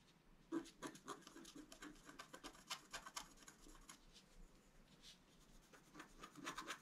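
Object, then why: Black-coated scratch paper scratched with a wooden stylus. A wooden stylus scratches flower details into a flat black-coated scratch art card lying on a table. Quiet, dry, bright scratching strokes come in quick, irregular bursts, some sharper and louder than others, with no ring after each stroke.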